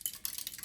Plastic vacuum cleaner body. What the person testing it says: you can hear something rattling inside here already